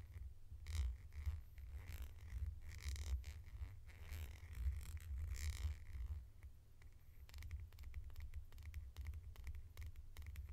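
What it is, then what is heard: Plastic flip-top lid. A small, hollow red plastic flip-top lid is held in the hands and tapped and scratched with long painted nails. The result is a quiet, steady low rumble under bursts of bright, scratchy scraping, followed by a run of rapid, crisp taps toward the end.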